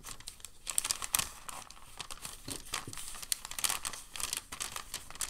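A hand grips and crumples a sheet of white packing paper, then unfolds and smooths the crinkled sheet. Dense, bright crinkling and crackling rustles come in quick bursts throughout, with a few sharper, louder crackles standing out.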